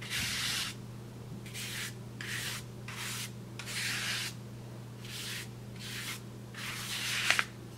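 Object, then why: Kraft paper bag. A wide bristle paintbrush rubs and sweeps across a large, flat brown kraft paper bag in a series of short, separate strokes. Each stroke makes a bright, airy scratching hiss, with quiet pauses between them. A steady low hum runs underneath, and two sharp ticks come near the end.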